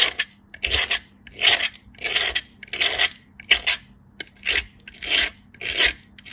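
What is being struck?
Bar soap on a stainless steel grater.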